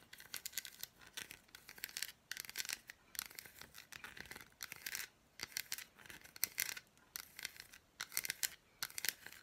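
An unwrapped, hand-sized solid milk chocolate bar with red fruit bits is tapped and scratched across its squares by long black nails. Quick, bright, crisp scratches and taps come in short bursts separated by brief pauses, with almost no low end.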